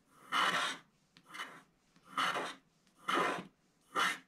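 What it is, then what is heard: Scratch art card being scraped. A pointed wooden stylus scratches the black wax coating off a small flat scratch art card with a white base and a snowman picture, lying on a table and held flat by one hand. Five dry, raspy scratching strokes come at an uneven pace, with quiet gaps between them and a bright, papery hiss.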